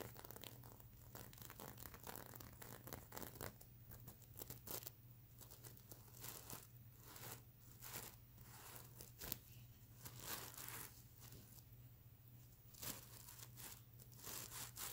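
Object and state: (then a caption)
Sequin pillow. Both hands scratch and brush the plastic sequins of a sequin-covered stuffed mermaid unicorn pillow with long nails, giving dense, crisp, crinkly scraping and swishing bursts that are bright and hiss-like. A steady low hum runs underneath throughout.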